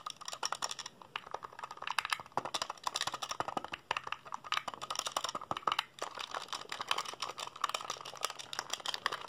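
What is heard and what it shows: Fingertips rapidly mash the buttons of a hollow black plastic PSP handheld console held in both hands. The result is a dense, continuous stream of sharp, dry plastic clicks that are bright with almost no low end, with each click ending almost instantly.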